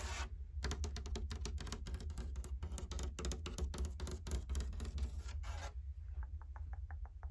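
Long painted fingernails rapidly tap, knock and scratch on the flat panel of a large dark brown painted wooden barn-style closet door with plank and X-brace panels. The result is a dense run of dry, bright scratchy taps over a steady low hum, which stops near the end and gives way to a few sparse, lighter ticks.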